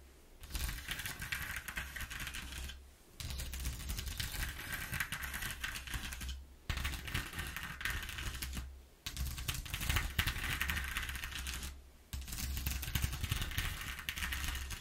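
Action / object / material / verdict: scrape / corrugated cardboard sheet / cardboard / none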